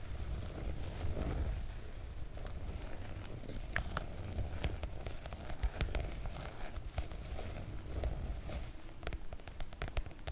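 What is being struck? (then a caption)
PVC-coated oilcloth make-up bag. Long coral nails tap and scratch the glossy coated fabric of a floral PVC-coated oilcloth make-up bag. Soft crackling and rustling scratches run over a steady low rumble, broken by frequent short, sharp taps that stop almost instantly.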